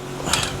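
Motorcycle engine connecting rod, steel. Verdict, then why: Loose. In an opened motorcycle engine that ran rough a week after a top-end rebuild, the steel connecting rod is knocked once, giving a single bright metallic clack around 1.3 kHz with a brief ring over a low background hum. The sound points to a worn, loose connecting rod with play in it. The rod, piston and block are all non-original local parts, and the block is damaged.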